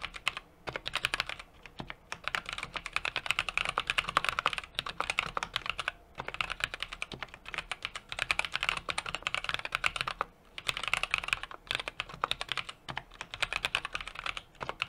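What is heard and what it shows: Fingertips type continuously on a small 60% mechanical keyboard with an aluminum case, brass plate and plastic keycaps. Rapid, bright, sharply decaying clacks come in steady bursts, with brief pauses around 2, 6 and 10 seconds. There is almost no low-end thump.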